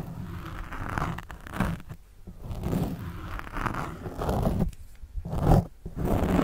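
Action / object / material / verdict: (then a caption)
scrape / foam microphone windscreen / foam / none. A pen tip scratches the surface of a black foam windscreen on a microphone. Close, muffled, low-heavy scraping and crunching comes in uneven bursts with short quiet gaps between them.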